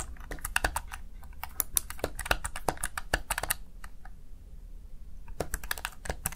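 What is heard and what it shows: Fingertips rapidly press the keys of a Razer Tartarus Chroma plastic gaming keypad. Sharp, bright plastic clicks come in quick irregular bursts, with a brief lull near the middle, over a faint low hum. Each click stops almost instantly.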